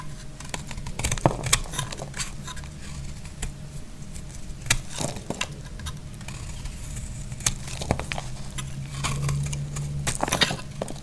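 A utility blade slices and scrapes crumbly pieces off a solid, hand-sized dry yellow soap bar. Crisp, bright crackling cuts and scrapes come in quick bursts over a steady low hum.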